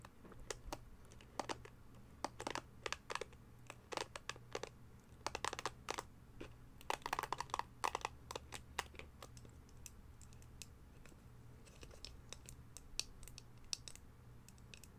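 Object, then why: Plastic detangling hair brush. Long nails tap and scratch the pink plastic bristles and glossy back of a red, hand-sized, hollow-backed plastic detangling brush as it is turned in the hands. The result is quick, sharp, bright clicks and scratchy crackles with almost no ring, bunching most densely in the middle of the clip over a faint, steady low hum.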